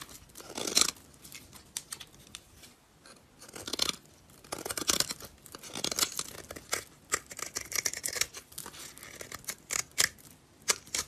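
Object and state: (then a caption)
Dry soap bar scraped with a blade. A utility knife blade cuts and scrapes crumbly flakes off a solid, dry purple soap bar held in the hand. The clip is a run of bright, crisp scraping and crunching strokes, some long and some short, with almost no low end. Each stroke stops dry, with no ring after it.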